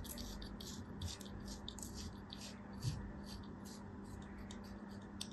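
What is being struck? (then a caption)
Kinetic sand block. A thin metal craft-knife blade scrapes and cuts a small solid block of beige kinetic sand held in an open palm, and crumbs fall off. Soft, quiet scratching and crisp, high rustling bursts repeat throughout over a steady low hum.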